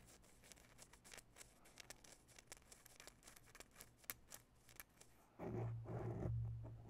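Long bare nails quickly scratch the sides of a grey foam microphone windscreen, producing a rapid stream of soft, dry scratching ticks. About five seconds in, the sound becomes a louder, muffled rubbing with a heavy low rumble that lasts to the end.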